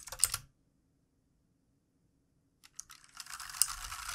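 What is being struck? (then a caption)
Plastic mechanical keyboard. Fingertips of both hands type on the plastic keycaps of a backlit plastic mechanical keyboard resting on a desk. A short burst of bright clicking keystrokes is followed by about two seconds of silence, then quick taps that build into continuous, dense clacking typing.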